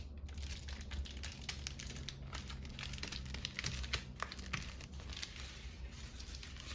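A red-and-white polka-dot paper lantern mushroom, hollow and ribbed, is tapped and scratched on its cap and stem by long nails, then compressed flat. Quick, dense crinkling and crackling taps of paper run throughout over a steady low hum.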